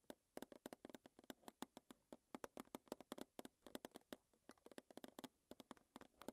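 Long nails tap rapidly on the front face and lid of a small, closed, square metal Twinings tea tin standing on a table. About 39 quick, quiet taps land in an uneven rhythm, each a short, bright click with a hollow tinny body that dies away almost instantly with no ring.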